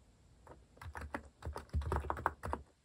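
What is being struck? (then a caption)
Plastic mechanical keyboard. Fingertips type on a compact mechanical keyboard with a white plastic case and plastic cat-shaped keycaps, producing about eleven quick, uneven keystrokes. Each press is a short, dry clack with a mid-range tone and a soft low thump, dying away almost instantly with no ring.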